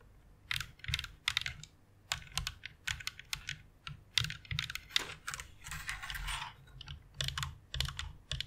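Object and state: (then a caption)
Plastic mechanical keyboard being typed on. Long nails type along the key rows of a white plastic rainbow mechanical keyboard, producing bursts of bright, sharp clicks with a soft low thump beneath each press. Around the six-second mark the clicks blur into a brief continuous rattle before separate taps resume.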